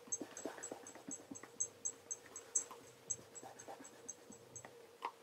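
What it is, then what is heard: Leather loafer being polished. A black leather REGAL tassel loafer, held in one hand, is polished to a mirror shine by rubbing its surface with cloth-wrapped fingertips. About sixteen quick, separate rubbing strokes make bright, high squeaks over a faint, steady low hum.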